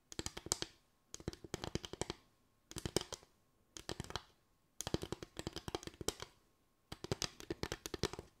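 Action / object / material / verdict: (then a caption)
tap / bamboo slatted board / bamboo / none. Long white acrylic nails tap and scratch a small board of parallel bamboo slats with gaps. Rapid, dry, bright clicks come in quick bursts separated by short silences, each click dying away almost instantly over a faint low hollow knock.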